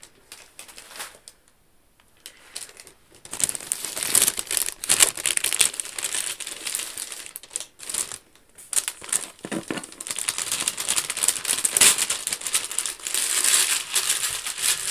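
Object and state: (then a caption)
Paper-wrapped gift box being scratched. Long acrylic nails scratch and rub the grey-white patterned paper wrapping of a medium, flat, hollow gift box with a gold medallion seal, held up in the air. Dense, crisp crinkling and scratching, mostly high-pitched, starts softly, pauses briefly near 2 and 8 seconds, and continues in irregular bursts.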